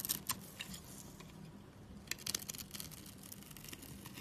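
A steel utility knife blade scores and scrapes a solid, light-blue dry bar of soap, breaking cubes off it. Crisp, bright crunching clicks and scratchy scrapes come in short bursts over a quiet, steady low hum.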